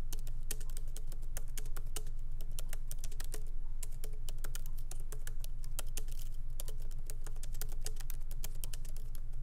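Light fingertip typing with both hands on a MacBook Pro laptop keyboard, with small plastic keycaps set in an aluminum body, resting on a wooden desk. A quick, uneven stream of short, bright key clicks runs throughout over a steady low hum.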